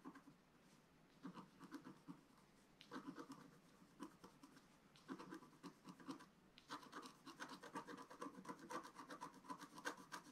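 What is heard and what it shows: A wooden stylus scratches across the holly area of a flat, black-coated scratch-art paper sheet. Quiet, dry, rasping strokes come in short bursts with brief pauses, then turn into a steadier run of quick scratches toward the end. The strokes have a bright, papery edge.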